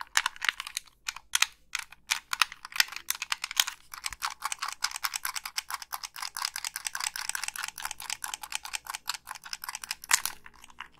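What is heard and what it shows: Long pink nails tap the hollow plastic shell of a black Xbox 360 gamepad and click its colored buttons and thumbsticks. The result is a rapid, continuous stream of crisp, dry plastic clicks and taps, bright and treble-heavy with almost no low end, centered around 1.9 kHz.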